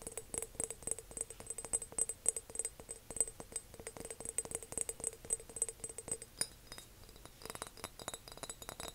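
A big decorative glass jar is tapped and clinked in quick, irregular succession, giving bright, short glassy clicks with a high ringing tone and a lower resonance. The tapping thins out briefly near the end before picking up again.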